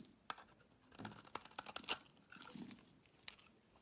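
A wide blade shaves long curls off a solid white bar of soap held in the hand. Quiet, crisp scraping and crunching with sharp, bright clicks comes in uneven bursts and settles into a softer scrape toward the end.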